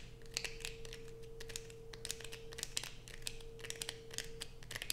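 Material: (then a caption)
Soap. Long nails scrape and peel thin curls from the edge of a light-blue bar of soap held close, making a rapid run of dry, crisp scratches and sharp ticks with bright high crackle. A steady low hum and a faint mid tone sit underneath throughout.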